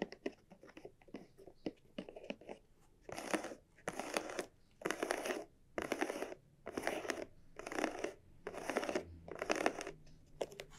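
Long nails tap quickly and lightly on a small, hollow, red croc-embossed leather cylinder bag held on a felt mat, making soft, crisp clicks. They then scratch across its textured surface in eight separate, evenly spaced strokes, each a bright, rasping burst.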